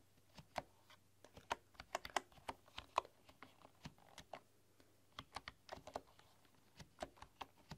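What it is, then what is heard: Bamboo computer keyboard. Fingertips and long, dark-polished nails type and tap on a full-size bamboo computer keyboard with a bamboo body, bamboo keycaps and a hollow case. About 25 quiet, crisp clicks come at an irregular pace, each dying almost instantly, with a woody mid-range tone and a faint steady low hum underneath.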